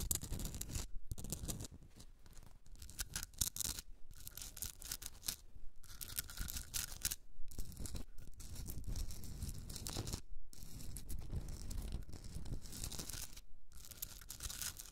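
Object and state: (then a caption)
Himalayan salt rock candle holder being scratched. Long red nails scratch the rough crystalline surface of a hand-sized pink Himalayan rock salt candle holder with a hollow top. The result is a steady run of dry, gritty rasping strokes with a bright hiss and a low rumbling body, broken by brief silent pauses between bursts.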